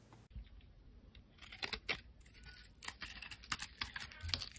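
A solid, rectangular, translucent amber glycerin soap bar is held in the hand and scored and scraped with a black utility blade. It makes a series of crisp, bright scratching and scraping strokes with quick decay over a quiet background.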